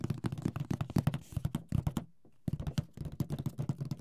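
Fingertips tap rapidly on the lid and sides of a large, rigid, hollow printed cardboard Mysterium board game box while the other hand steadies it. The taps are quick, dull and low-pitched hollow knocks with no ring, and they pause briefly just past the middle before the tapping resumes.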